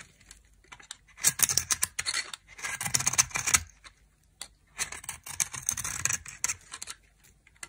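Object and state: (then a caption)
Dry soap bar being scraped. A knife scrapes the red outer layer off a dry, solid soap bar, exposing its white core. Two long passes of bright, crisp rasping are heard, made of many quick scratchy strokes with almost no low end. Each pass is followed by a short quiet pause.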